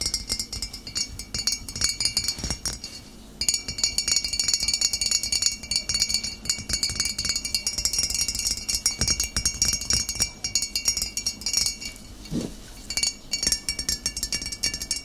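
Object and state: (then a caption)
Glass bottle. Fingernails tap rapidly and continuously on a glass bottle, making dense, bright clinks with short rings and steady high tones. The tapping briefly pauses just after three seconds and softens around twelve seconds before picking up again.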